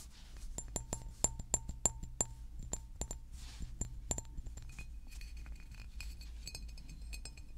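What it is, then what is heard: Glass bottle tapped with fingernails. A large green glass water bottle is held and turned while being tapped with fingernails, giving a series of sharp, separate clinks with a bright, short glassy ring over a low background hum. After about four and a half seconds the tapping turns quicker and softer, becoming a dense, high clicking patter.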